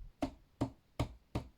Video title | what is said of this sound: storing squashes | that doesn't sound hollow like a drum that sounds firm